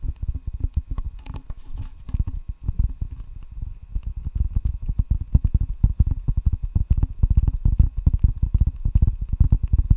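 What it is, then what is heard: Rubber-faced wooden ping pong paddle. A solid wooden table tennis paddle with red rubber facing is held up close to the microphone and tapped on its rubber surface with fingertips. The result is a rapid, irregular stream of soft, dull, low thumps that die away almost instantly, with little high-frequency content.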